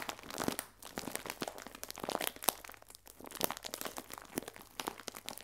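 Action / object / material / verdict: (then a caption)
scrape / clear plastic film bag holding biscuits / plastic film / none. A clear plastic film bag full of biscuits, held upright, is pressed and rubbed with fingertips and nails. This produces a steady run of quiet, bright crinkling and crackling with quick, sharp snaps. A faint low hum sits underneath.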